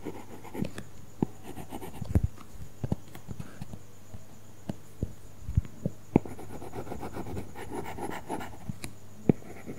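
A stylus tip scratches across a flat iPad glass screen fitted with a matte, paper-feel plastic film while coloring. Soft, low scratchy strokes run throughout over a faint steady hum, broken by a series of short, sharp taps as the tip meets the film.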